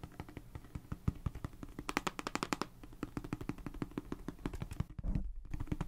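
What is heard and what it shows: A small, hollow, boxy plastic galaxy star projector is held in the hand close to the microphone and tapped and scratched with long nails and fingertips. It makes a rapid, irregular stream of sharp, dry clicks and taps with a hollow, low-bodied knock and almost no ring. A brief scratchy rustle comes near the end before the tapping resumes.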